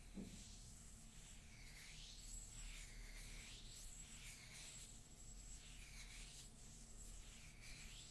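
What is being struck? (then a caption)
Ceramic mug, unglazed base. Long nails scratch and tap the unglazed base of a hollow, empty green printed ceramic mug. Steady rasping strokes repeat with bright, swooping arcs of tone over a faint low hum, continuing evenly throughout with no separate, distinct hits.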